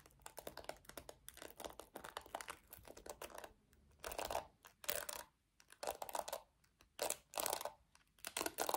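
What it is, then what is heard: Plastic paddle hairbrush. Long nails tap quickly on the hollow back of a small pink plastic paddle hairbrush with black bristles, making a dense run of light, dry clicks with no low end. Then they scratch across the bristles in longer bright, rasping bursts separated by short pauses.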